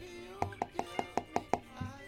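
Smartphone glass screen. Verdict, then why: Hollow. Seven quick taps on the OLED screen of a Google Pixel 8 Pro, with glass over the panel, each giving a short, dry knock centered in the low mids. The taps sound hollow, as if there were an empty space under the screen, like on the Pixel 7 Pro. Faint background music plays underneath.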